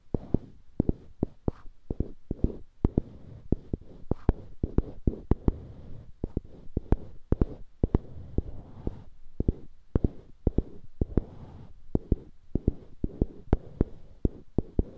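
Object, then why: Small wooden block on a wooden handle. Fingertips scratch and rub the faces of two identical small, solid light-wood cubes on polished dark-wood handles, held one in each hand close to a binaural microphone. Dozens of sharp, dry clicks at an irregular pace punctuate a soft, low, rumbling scratch, with almost no ring after each click.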